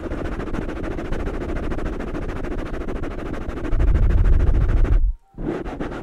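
Fingertips of both hands scratch and tap two black foam microphone covers, making a dense, fast, rustling patter weighted heavily toward low, muffled thuds. The sound grows louder and boomier toward the end, cuts to near silence for a moment, then the scratching resumes.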